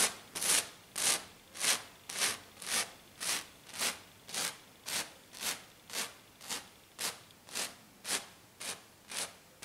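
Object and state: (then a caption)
Glitter-covered sheet. Both hands, fingers clawed and with black nails, scratch hard and fast across a flat silver glitter-covered sheet. About 17 quick, evenly spaced rasping strokes are heard, each a bright, high-pitched scratch with almost no low end that fades within a fraction of a second.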